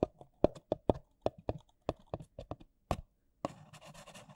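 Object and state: Paper coffee cup tapped.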